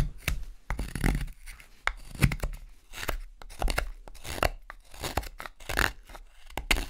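A steel carving knife whittles a wooden spoon blank, a solid rectangular block of pale, light carving wood held in one hand, sending shavings flying. Quick, dry cutting and scraping strokes come in a steady, uneven rhythm. Each stroke has a dull, low-heavy thud under a crisp, tearing rasp, with no ring after it.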